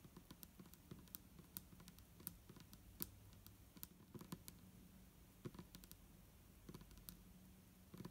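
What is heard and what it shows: Long nails tap the sides of an upright clear plastic micellar water bottle with a green cap, hollow and partly filled with liquid. About 33 quick, sharp clicks with bright high ticks arrive in irregular bursts, each dying away almost instantly, over a quiet, steady low rumble.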